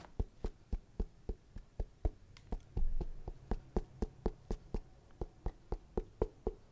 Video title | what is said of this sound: ASMR - Shoe Unboxing & Tapping/Scratching Sounds 👟 (Nike Foamposite Pro) (Askick.ru Collab) | This material's definitely sturdy, but you just gotta do the knocking test to see